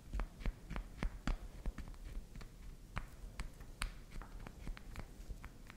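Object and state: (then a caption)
Bar of soap tapped and scratched with nails. Long acrylic nails tap and scratch a solid chunk of soft pink candy soap held upright between both hands, with soap crumbs on the table. A rapid, irregular series of short, dry clicks and taps is heard over faint scratching, each tap dying away almost instantly.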